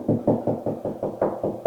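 Nine quick, dull knocks on drywall over a wood stud, each short and low-mid with almost no ring. The knocks sound solid rather than hollow, showing the wall stud sits right behind the drywall at that spot.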